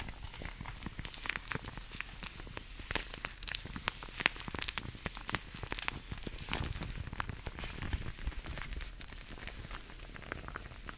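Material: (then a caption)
Vinyl. Shiny black long vinyl (PVC) gloves worn on both hands are rubbed, squeezed and stretched against each other, gloved fingers and palms working close to the microphone. A dense stream of short, sharp creaks, squeaks and crackles runs through the whole clip with no pause, with bright high edges over a soft low rumble.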